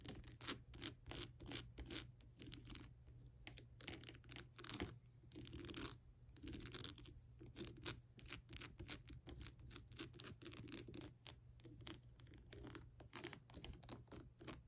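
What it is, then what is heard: Plastic skull lamp being scratched and tapped. Long nails scratch and tap across the top of the cranium and the face area of a hollow, lit skull lamp with a crackled plastic shell. The result is a dense stream of quick, dry, bright scratches and crisp taps over a steady low hum.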